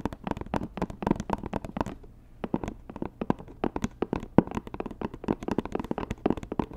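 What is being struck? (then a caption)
Rigid cardboard gift box. Long nails tap quickly on a hollow, white rigid cardboard Dior gift box, making dense runs of short, dry, hollow clicks with a low woody body. The tapping pauses briefly about two seconds in, then resumes just as fast until the end.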